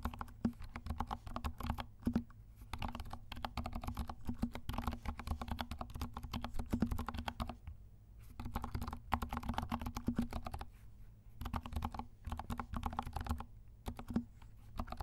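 Fingertips of both hands type on a compact 68-key mechanical keyboard with dark plastic keycaps and silent switches. The result is a dense run of soft, muted, low keystroke taps with short pauses between bursts.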